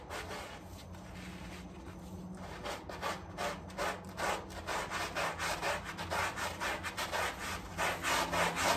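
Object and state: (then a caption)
Wet rug being scrubbed. A gloved hand scrubs a small, heavily dirty and muddy flat-woven area rug, wet and soapy with foam, back and forth on a tile floor using a handheld plastic scrub brush. Softer rubbing at the start gives way to a steady, rhythmic series of bristly, wet scrubbing strokes, about 13 distinct passes, that grow slightly louder toward the end.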